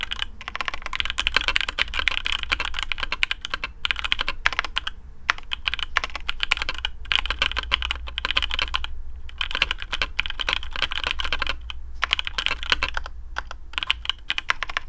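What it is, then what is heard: Mechanical keyboard with PBT keycaps. Fingertips of both hands type quickly on a black AARU custom mechanical keyboard with TTC Speed Silver switches, PBT plastic keycaps, a carbon fibre plate and a hollow case. The result is a dense run of sharp, bright clacks with very short ring, broken by brief pauses, over a steady low hum.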